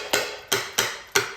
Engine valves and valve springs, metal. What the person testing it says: when I tap on these valves you can hear the spring you can you can hear them that they're moving